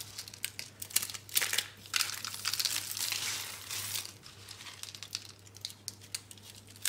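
Fingertips crumble pink dry soap flakes and rolled rose curls, then pick up a solid rolled soap rose. The sound is dense, dry crinkling and crunching, bright and hissy with almost no low end. It builds to a sustained crackling burst in the middle before thinning to scattered small crackles, over a faint steady low hum.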